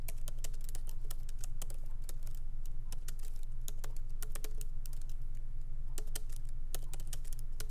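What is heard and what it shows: Fingertips of both hands type lightly on a MacBook Pro laptop keyboard with black plastic keycaps in an aluminum body, resting on a wooden desk. Short, bright, crisp key clicks patter at an uneven pace over a steady low hum.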